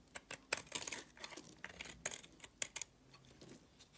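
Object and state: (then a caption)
Soap bar being carved. A solid purple soap bar held in the hand is scraped with a utility blade. About fifteen short, crisp scraping ticks and crackles come in quick, uneven succession, bright and high with almost no low end. They fade into quieter faint scratches toward the end.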